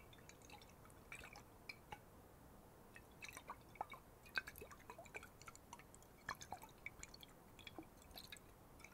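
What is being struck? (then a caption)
Glass bottle with water. A glass water bottle holding water is sloshed and shaken. Irregular, soft liquid sloshes and bright, drip-like plinks sound over a quiet background, with an occasional clunk against the glass.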